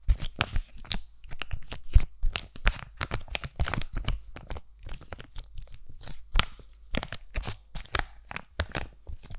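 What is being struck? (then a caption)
Laminated foil-plastic sachet. Fingertips and nails crinkle and scratch a single flat, hand-sized aloe sheet-mask packet of laminated foil and plastic, held in both hands close to the mic. Dense, crackly tearing-like bursts reach up to bright, high frequencies, separated by short pauses. A steady low rumble sits underneath throughout.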